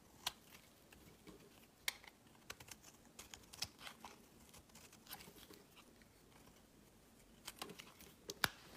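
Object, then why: Bar of soap. A hand-sized solid lavender bar soap, held in the fingers, is shaved with a metal utility knife blade so curls peel off. Soft, quiet scraping and carving runs throughout, with many sharp, bright clicks and ticks from the blade. Several louder snaps stand out near the start and the end.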